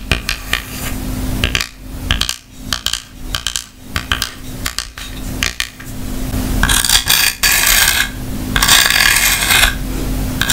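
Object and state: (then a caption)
Hard plastic case tapped and scratched with nails. Long nails tap and scratch the hollow shell of an open white hard plastic clamshell grooming kit case holding small tools. Quick, uneven bright clicks give way to longer stretches of hissing scratches across the plastic.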